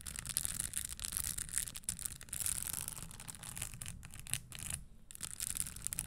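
Long nails rub and scratch the spikes on the upper of a red spiked leather Christian Louboutin stiletto pump resting on a table. The result is a dense, continuous scratchy rasp with bright, high hiss over a low rumble, briefly dipping near the five-second mark before resuming.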